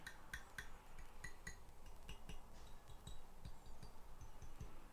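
With a capo on the third fret of a Stratocaster-style guitar, a steel string is tapped down onto the first fret, producing a series of small, sharp metallic ticks. The ticking shows a small gap of about a business card's thickness between the string and the first fret, so the action at the nut is good.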